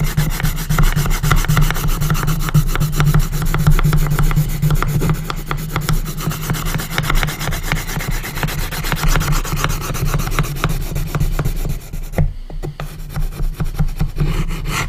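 A colored pencil tip hatches and scratches across the light wood lid of a small hinged, coffin-shaped wooden box held flat on a table. The result is a steady stream of quick, irregular rubbing and scraping strokes over a dense low rumble, with a short dip near the twelfth second before the scratching resumes.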